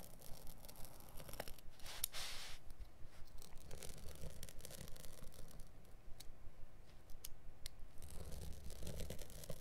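A blade held in the fingers scratches and scores across the light woven/felt backing of a carpet piece turned over on a cutting mat. A steady run of quick, dry, rasping scrapes repeats at a fairly even pace, with a brief brighter, hissier stroke near the two-second mark. The sound stays soft and heavy in the low end throughout.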